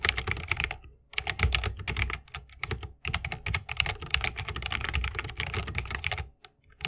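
A 60% mechanical keyboard with plastic keycaps on tactile switches, set in a solid bamboo wooden case with RGB lighting and resting on a wrist rest, is typed on fast with the fingertips of both hands. Dense bursts of sharp, bright clacks with a thocky low body run in quick flurries, broken by brief pauses near one and three seconds and a quieter gap near the end.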